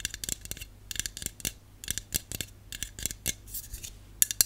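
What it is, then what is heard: Aluminium aerosol can. A Dove aluminum aerosol dry shampoo can, hollow metal, is held and tapped with long nails on its body and bottom. About nineteen quick, bright clicks come in clustered bursts, each dying out almost instantly with little low end.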